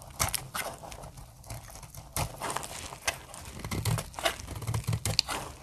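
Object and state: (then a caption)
Dry soap bar being shaved. A snap-off metal blade cuts dry plates from the corner of a solid, translucent amber dry soap bar. Repeated crunchy, crackling shaving strokes come in uneven bursts with a bright, papery edge over a low thud. Each cut ends almost instantly.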